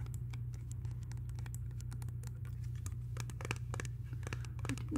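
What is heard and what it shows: Long pink nails tap and scratch a small, flat, hollow white-and-clear plastic hand sanitizer spray bottle held in both hands. Quick, dry clicking taps and short scratches patter irregularly over a steady low hum.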